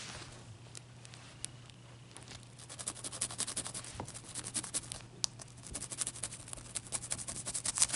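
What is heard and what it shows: Long dark-purple nails and fingertips rub and scratch the surface of a clear, irregular solid ice chunk resting on a white towel. Dense, bright, crackly scratches and sharp little clicks build in intensity over a quiet, steady low hum.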